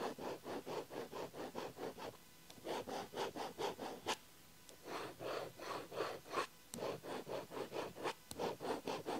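A ballpoint pen tip scratches lines across an open paper diary page. Quick, rhythmic back-and-forth strokes make a soft, dry, papery hiss, coming in runs separated by short pauses, with an occasional sharp, bright tick between them.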